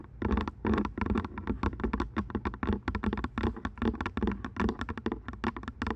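Long nails tap quickly and irregularly on the headband and earcups of purple plastic over-ear headphones resting on a microphone. The result is a dense run of short, dry clicks with a little bright edge, over a steady low tone near 200 Hz.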